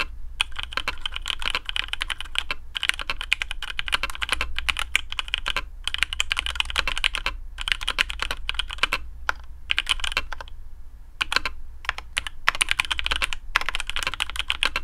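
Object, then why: Mechanical keyboard with plastic keycaps. A black AARU custom mechanical keyboard with TTC Speed Silver switches, PBT plastic keycaps on a carbon fibre plate and a hollow case is typed on with the fingertips of both hands. Rapid, crisp clacking keystrokes come in dense bursts with brief pauses, bright in tone over a steady low hum.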